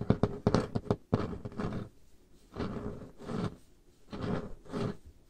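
Painted fingernails and fingertips tap a large, solid, dark-stained wooden table top, making a quick run of sharp, low, woody clicks. These give way to several longer, soft, rasping strokes across the surface with brief quiet gaps between them.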